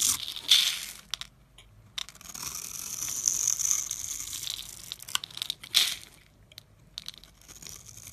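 A metal blade scrapes and carves a solid, opaque bar of blue and white striped soap held in the hand, throwing off white powder and small cubes. The strokes give bright, dry, crunchy scraping sounds with almost no low end, some longer and sustained and a few sharper, louder cuts, separated by brief quiet pauses.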